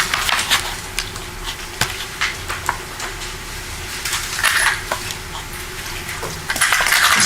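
A small evidence box, exhibit 187A, holding apparent ammunition rounds, is shaken in a courtroom. It gives a loose series of sharp, bright clicks and rattles over a quiet background hum. Multiple objects can be heard moving inside.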